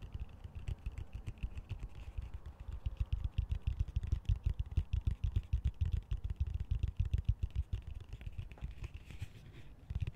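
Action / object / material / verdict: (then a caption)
tap / plastic colander / plastic / none. A fingernail taps and scratches the slotted sides of a large, hollow, empty green plastic colander held upside down. The result is a rapid, irregular run of short, dull taps with a deep, hollow low end, mixed with faint scratching.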